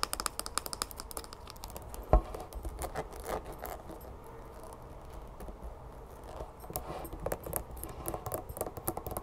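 Long green-painted nails tap and scratch the sides and orange cap of a mid-sized, hollow, bear-shaped plastic squeeze bottle of honey that is mostly full. Fast, dense, dry plastic clicks and scratchy rustles run throughout over a low background hum, with one sharper, louder tap standing out early on.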